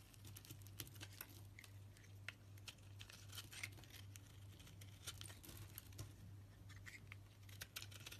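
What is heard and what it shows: A knife blade shaves and scrapes curls off a solid pale yellow soap bar with a green edge. The result is a quiet, continuous stream of short, crisp scraping and crackling ticks with a bright edge, over a steady low hum.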